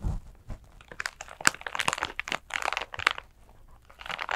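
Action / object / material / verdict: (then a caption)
scrape / glitter-covered clutch bag / glitter / none. A flat glitter clutch bag covered in coarse gold and purple glitter is held in both hands and scratched and squeezed with long nails. Bursts of bright, crinkly, crunchy scratching come in quick clusters, separated by brief quiet gaps. A soft low thump sounds at the very start.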